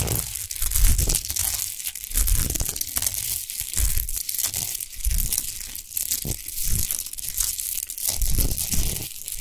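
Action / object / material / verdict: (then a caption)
scrape / rock salt lamp / rock salt / none. Long nails scratch fast across a tall, rough-textured, unlit lamp of solid natural Himalayan rock salt. The sound is a dense, gritty, crackling scrape with a bright hiss over a low, thumping rumble, rising and falling in rough, uneven swells.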